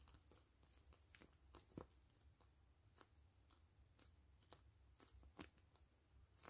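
Long fingernails scratch and tap the surface of a soft, hollow, clear-gray grid-mesh PVC zipper pouch with fabric trim. Quiet crinkly scratching is broken by short, bright clicks from the taps, with a low steady hum underneath.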